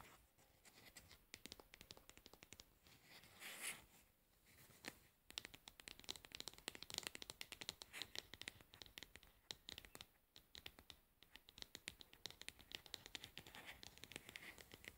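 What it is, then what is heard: Plastic cosmetic jar. Long nails scratch and tap the lid rim and labeled side of a plastic cosmetic pad jar held up close. The sound is a dense run of quick, dry, bright clicks and scratchy rasps, mostly high in pitch, with very short decay and a quiet overall level.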